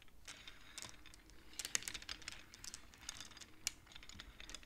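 Long-nailed fingers rapidly slide the painted wooden beads of a wooden abacus so they click against each other. The result is a quiet, irregular patter of short, bright clicks that die away almost instantly, with a few sharper knocks standing out.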